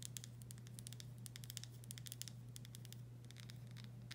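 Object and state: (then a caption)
Glass pickle jar. Long stiletto nails tap and scratch the paper-labeled glass body of a full, medium-size Vlasic pickle jar. Quick, bright clicking taps and dry scratchy rustles come in uneven bursts, each dying away almost instantly. They sit over a steady low hum at a quiet level.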